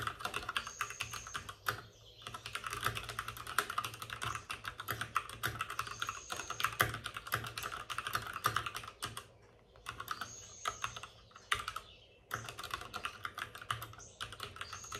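Both hands type rapidly with their fingertips on the plastic keycaps of a white, backlit RGB mechanical computer keyboard resting on a desk with a padded wrist rest. The result is a dense stream of sharp, bright clicks and clacks with a thin low thud beneath, broken by a few short pauses.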